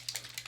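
A bareMinerals bareSkin serum foundation bottle with a small mixing ball inside is shaken, giving quick, bright, liquidy rattles. The clicks are thin and high with little low end, and they fit a thin, runny serum.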